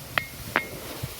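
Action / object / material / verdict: strike / stone struck against stone / stone / ringing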